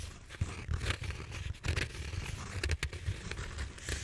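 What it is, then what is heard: Bead-foam roller being scratched. Fingernails scrape and scratch along the surface of a large purple bead-foam styrofoam roller held diagonally. Dry, continuous scratching comes in uneven bursts over a low, rumbling body, with short bright squeaky streaks cutting through. The strokes stop quickly, with almost no ring.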